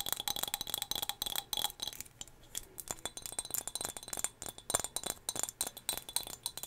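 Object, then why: Small glass whale figurine. A small turquoise glass whale figurine, also used to hold hair ties, is tapped repeatedly, giving quick, bright glassy clinks. The clinks are sharp and high-pitched and fade almost at once, coming in uneven bursts with a short quieter pause near the middle.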